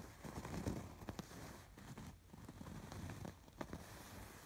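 Fingertips and nails scratch over the raised colored embroidery on a soft stuffed fabric pillow. It makes a quiet, continuous rustling crackle, mostly low and dull, with brief sharper scratchy ticks now and then.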